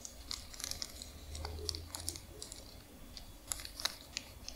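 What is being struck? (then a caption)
Thin paper receipt strip. A long strip of white paper receipt, flattened and then folded, is scratched and crinkled by long nails. Quiet, bright, crisp crackles and sharp ticks come in scattered bursts, each dying almost instantly, over a faint low hum.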